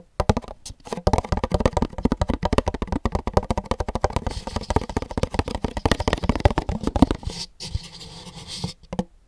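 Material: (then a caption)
Paper. A pink, empty paper cup held over a microphone is tapped rapidly on its side with fingertips and nails. The result is a dense run of short, dull, hollow taps with very little ring, heavy in low tones and little brightness. Near the end the tapping eases into a softer, quieter stretch before a few last taps.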